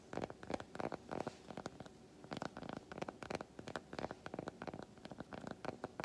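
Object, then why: Solid milk chocolate bar. Fingernails tap and scratch the squares of a large, unwrapped solid milk chocolate bar held in both hands. Quick clusters of dry, close taps mix with brief scratchy rasps, mostly in the midrange with little low end and almost no ring after each hit.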